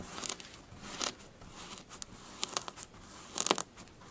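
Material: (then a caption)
Sand. Long blue fingernails scratch and rake across a smooth, flattened surface of pink kinetic sand, producing a string of crunchy, crackling bursts over a soft, continuous scratching hiss. The clicks are sharp and bright with very little low end, each dying away almost instantly.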